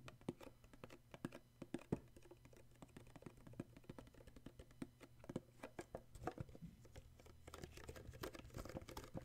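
Fingertips tap and grip the red and printed sides of a small, hollow red cardboard gift box with an illustrated sleeve, held in the hands. Quick, dry, hollow taps come in an irregular patter with soft scratchy rubbing between them, over a steady low hum. Each tap dies away almost at once.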